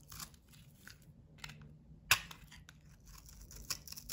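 A solid bar of soap with a blue painted, textured coating is held in the palm and scraped with a box-cutter blade, shaving off soap crumbs. Soft, bright, crackly scraping strokes are heard, with one sharp, louder scrape midway through.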